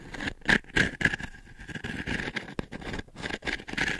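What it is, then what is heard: Wooden-frame pin brush, scratched. Long nails scratch across the dense short pins or bristles of a small, light, octagonal wooden-frame brush held by hand above the microphone. Uneven bursts of dry, bristly scratching rise and fall, each carrying a faint ringing tone near 1.7 kHz over soft, grainy rustle.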